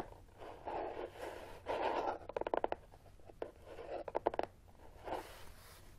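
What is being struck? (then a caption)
Closed corrugated cardboard box. Fingernails scratch and rapidly tap on top of a closed, hollow brown corrugated cardboard box resting on carpet, and the box shifts slightly. Soft scraping swells alternate with two quick bursts of sharp, hollow taps, with the sound concentrated in a papery midrange around 460 Hz.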